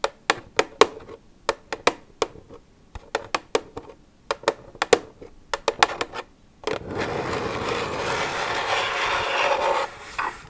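Long red nails tap an empty, hollow white plastic milk jug resting on a wooden table, making around twenty sharp, dry, separate clicks with a light hollow ring, while hands shift position. The tapping then turns into a steady, bright scratching over the plastic for about three seconds before it stops.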